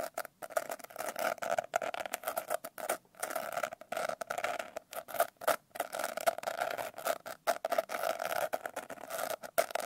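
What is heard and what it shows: Long painted nails scratch and tap on a medium-sized, solid paper notebook with a coarse blue glitter cover, held upright. Quick bursts of dry, gritty scratching and light tapping come in rapid runs with brief pauses, centered in the midrange with little low end.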